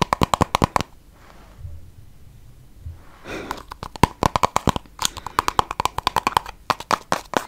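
Long yellow nails tap and scratch a small, pink plastic balm tube that is hollow and filled with product. Quick runs of crisp, clicky taps with a mid-pitched ring near 1 kHz give way to a stretch of soft, low scratching and rustling. A brushing swell follows, then the rapid tapping returns.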